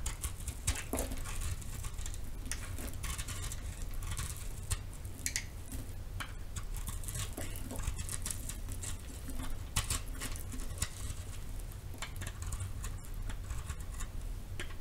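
A metal knife scrapes and chips the surface of a solid pink-purple marbled round soap held in the hand. Dense, rapid scratchy patter with bright crisp flecks runs over a steady low hum.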